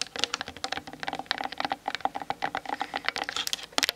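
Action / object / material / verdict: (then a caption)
tap / plastic DSLR camera body and lens / plastic / none. Long nails tap quickly on the hollow plastic body and lens of a Canon DSLR mounted on a tripod. About 27 crisp, clicky taps come in a fast, uneven run, each with a hollow tone around 715 Hz and bright high edges. Each tap dies almost instantly, with no low rumble.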